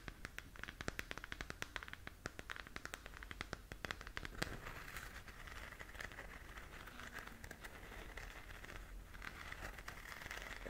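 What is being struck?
Hollow plastic sphere lamp.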